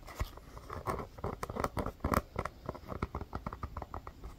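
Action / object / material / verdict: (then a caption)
tap / small rubber basketball / rubber / none. A small, hollow, inflated orange rubber mini basketball with a pebbled surface is held in the hands and tapped and scratched with long fingernails. A rapid, uneven run of quiet pattering taps follows, each a short dull thump with a faint clicky tick. The sounds die away almost instantly, with light scratchy texture between them.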